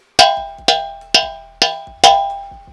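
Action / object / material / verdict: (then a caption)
strike / steel two-stroke expansion pipe / steel / clean. A steel 125 two-stroke expansion pipe, with most of its carbon burned out in an oven, is struck five times with a hammer. Each strike gives a clear, bright metallic "ting" that rings for a moment before the next. The clear ring shows the pipe is clean inside.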